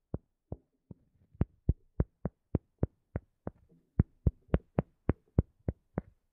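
Long nails tap and scratch a round cork disc coaster held in both hands. Eighteen short, dry, dull taps fall in a quick, somewhat uneven rhythm, heavy in the low end with almost no ring. Faint soft scratching fills the gaps between them.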